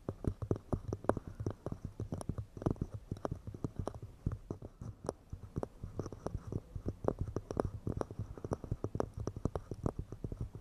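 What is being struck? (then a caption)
Pine wood cups. Fingers tap quickly and delicately on pine wood cups, making a steady stream of short, dry, hollow knocks. The knocks are mostly low and woody with a faint mid tone, and each dies away almost at once with no ring.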